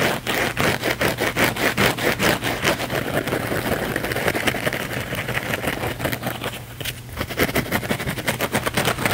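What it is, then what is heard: Foam sponge scratched with fingernails. A thin, flexible blue foam sponge is held in the hands and scratched fast with the fingernails. Rapid, uneven bursts of bright, rasping scratches run continuously over a low steady hum, easing briefly just before the seventh second and then picking back up.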